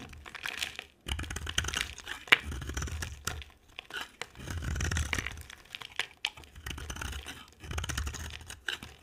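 A utility-knife blade shaves a solid rectangular bar of dry soap, with an orange outer layer and a cream core, held in a hand with long dark nails, as curls fall onto a white table. Bursts of dry, crackly scraping and crunchy carving run in strokes with brief quiet gaps, bright and gritty on top with a soft low rumble beneath.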